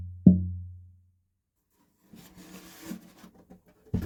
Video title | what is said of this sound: Pt 1 The Daniel. A Craig Williams Flame Cherry acoustic guitar build. Herringbone purfling. | quite a solid sound there